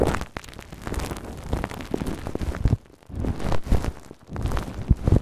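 A large layered ball of clear plastic cling film wrapped over a microphone is scratched and tapped by fingertips and nails. It makes dense, close crinkling and crackling with a heavy low rumble, broken by brief quiet pauses near the three- and four-second marks.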